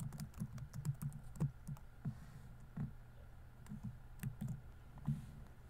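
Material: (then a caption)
Plastic. Fingertips type fast on a laptop keyboard with plastic keys, producing quick, soft, low-pitched key taps with faint bright clicks. The taps come in uneven bursts with short pauses between them.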